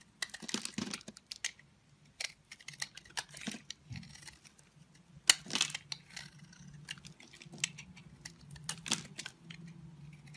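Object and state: Soap bar being shaved with a blade.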